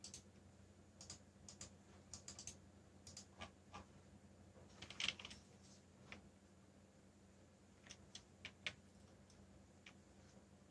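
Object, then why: Plastic mechanical keyboard. Fingertips of a whole hand type quickly on a backlit mechanical keyboard with black plastic keycaps. Irregular bursts of short, sharp, bright clicks sit over a faint steady low hum, with a louder cluster of strikes about halfway through.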